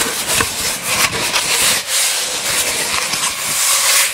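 A long, hollow, empty brown cardboard tube is held horizontally in front of a microphone and rubbed slowly with the fingertips and palms. The result is a steady, bright, hissy rubbing texture with almost no low end, a faint hollow tone near 1.1 kHz and soft swells and dips in level throughout.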